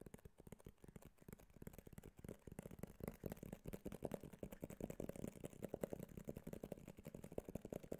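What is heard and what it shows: Fingertips and nails tap quickly on the glossy front and sides of a small white cardboard iPhone box held in the hand. The result is a steady stream of quiet, dry, hollow clicks with a low-mid body, each stopping almost instantly with no ring.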